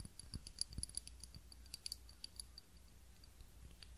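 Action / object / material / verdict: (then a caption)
tap / ribbed glass candle holder filled with wax / glass / none. A small ribbed glass candle holder, filled with wax and holding a lit candle, is held in both hands and tapped and scratched with long fingernails. About nineteen quick, quiet clicks and taps with a bright, high glassy ping sound over a soft low rumble and faint scratching, with the busiest tapping in the first half and sparser taps toward the end.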